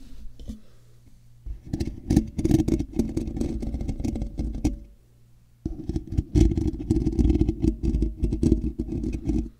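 Fingertips and short nails of both hands slowly scratch and rub the large, hollow, black woven metal mesh ball grille of a microphone. The result is dense, boomy scratching and thumping, heavy in the low end, in two long stretches separated by a brief quiet gap with a faint low hum.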